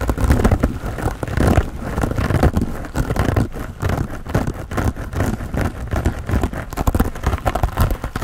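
Fingertips and nails scratch and rub a soft, hand-sized grey porous foam sponge with a foam handle, held close up. A dense, continuous rustling scrape fills the clip, muffled and weighted toward the low end, with little high-frequency hiss.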